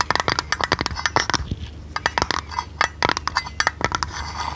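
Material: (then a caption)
Tinplate. A thin, hollow, printed blue tinplate lid from a tea canister is held in the hand and tapped with long red nails. Quick clusters of light, bright metallic clicks and ticks come in bursts with short pauses, with a faint tinny ring around 1.2 kHz that dies away almost at once.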